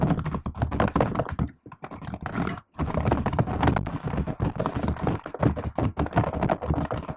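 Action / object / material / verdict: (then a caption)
tap / laptop keyboard, plastic keys in aluminium body / plastic / none. Both hands type on a silver laptop keyboard with black plastic keys in an aluminium body, using fingertips and long nails. The result is a dense run of short, dull thunking taps with a low body and a bright clicky edge, broken by two brief pauses.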